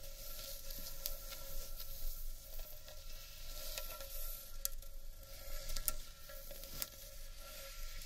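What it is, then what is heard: Carved wooden bowl. Long nails scratch and tap the rim and inside of a large, hollow, empty carved wooden bowl. A steady, quiet, crackly scraping fills the clip over a faint ringing tone, with occasional sharp, bright taps standing out.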